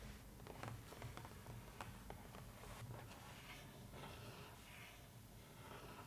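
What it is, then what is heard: Cardboard box lid tapped and scratched with nails. Long nails tap and scratch across a large, flat cardboard box lid printed in a newspaper pattern. Soft, quiet clicks and dry scraping sit over a steady low hum.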